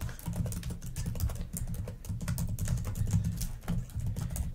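Long nails and fingertips type and tap rapidly on the plastic keys of a black laptop keyboard. The result is a dense, steady patter of quick, dry clicks over a low, muffled thud, with bright ticks from the nails scattered on top.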